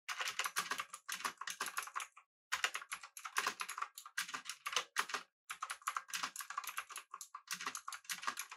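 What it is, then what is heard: Mechanical keyboard being typed on. Fingertips type continuously on a pink-backlit mechanical keyboard with an aluminum body and round plastic keycaps. Quick, bright clacking keystrokes come in rapid bursts, with short pauses near 2.3 and 5.4 seconds.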